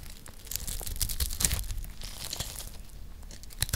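A round, palm-sized bar of dry, solid yellow soap is held in one hand and scored and scraped with a metal blade that also cuts out cubes. Dry, gritty crunching and scraping crackles in a dense run of short, bright bursts over a soft low rumble, with a sharper crunch near the end.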